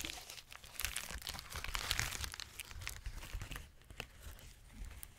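A large clear plastic bubble wrap sheet is held up beside the mic while fingertips and nails press and crinkle its bubbles. A dense run of bright, crackling crinkles and small snapping bursts sits over a low, rumbling handling thump. The crinkling swells and eases continuously for about five seconds.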